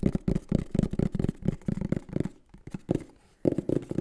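A green and black printed cardboard microphone box is held in the hands and tapped and scratched with the fingertips. Quick, hollow, low-pitched taps patter rapidly across the cardboard, broken midway by a quieter stretch of soft scratching before the tapping resumes.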